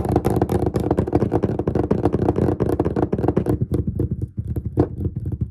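Fingertips and short nails of both hands tap rapidly on the large, solid, flat surface of a dark-stained wooden desk. The result is a dense, continuous patter of short, dull, woody knocks with a low body and almost no ring. The tapping eases briefly toward the end before picking back up.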